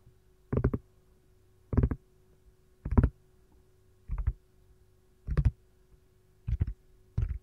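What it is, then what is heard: Silicone ice cube tray tapped with nails. Long gold nails tap and scratch across an empty, hollow, round yellow lemon-slice-shaped silicone ice cube tray turned upside down. Seven short bursts of quick, clustered clicks come at irregular intervals, dull and low with almost no ring. A faint steady hum sits beneath the quiet gaps.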